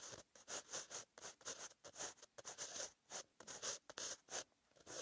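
A green-ink pen tip scratches across a white lined page of a paper notebook while writing. It produces a run of short, bright, dry scratching strokes separated by brief pauses, with almost no low end.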